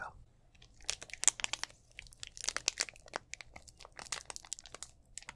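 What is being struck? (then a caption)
Thin plastic drink bottle. Fingers squeeze and crinkle the thin walls of a clear, hollow, mostly empty plastic drink bottle with an orange cap, held in both hands. Quiet, dense bursts of sharp, bright crackling come in irregular clusters, with almost no low end and no ringing after each snap.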